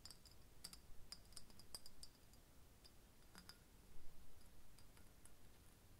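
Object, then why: Embossed glass bottle. Fingernails tap quickly on an embossed, hollow green glass bottle held in the hand. The result is a quiet run of short, sharp, high-pitched clicks that die away almost instantly, over a steady low rumble.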